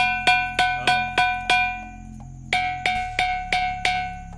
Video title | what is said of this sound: वाजणारा अद्भुत दगड: Ringing stone in Savargaon, Gadchiroli | मंदिर किंवा शाळेच्या घंटे सारखा आवाज या दगडातून येतो